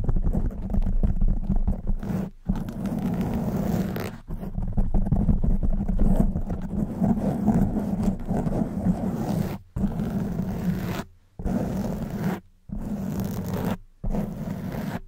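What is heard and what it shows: Long white nails scratch a black foam windscreen on a silver microphone. The result is a close, dense, muffled rustling and rumbling scrape, heavy in the low end with almost no high content. It comes in several sustained bursts separated by brief silences.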